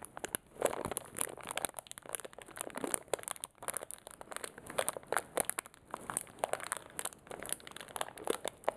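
A small clear plastic zip-lock bag holding metal paper clips, one of them yellow-coated, is held close and crinkled and squeezed between the fingertips. Quick crackling crinkles come in dense, uneven bursts, centered in the midrange with bright, hissy edges and almost no low end. The clips inside may add faint rattles beneath the plastic crackle.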